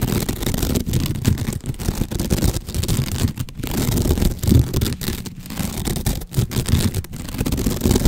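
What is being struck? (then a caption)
Cylinder wrapped in coarse sisal rope. Fingertips and nails scratch along the fibres of a long cylinder wrapped in coarse natural sisal or jute rope, like a cat scratching post, held horizontally in front of the mic. The result is a steady, close, rough rasping that is heavy in the low end around 90 Hz with little high content, broken by brief quiet gaps between strokes.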